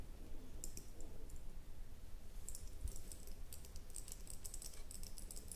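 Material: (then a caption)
Glass. A small red ribbed glass candle jar with a domed lid, likely filled with wax, is tapped and scratched with long nails while held in both hands on a table. Quiet, sharp, bright clicks come in irregular clusters over a steady low rumble, each tap dying away almost at once.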